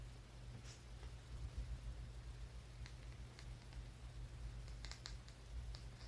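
A small, solid brown rock with a rough surface is held in one hand and tapped and scratched with the fingertips and nails of the other hand. Quiet, irregular clicks and light scratches sound over a steady low hum.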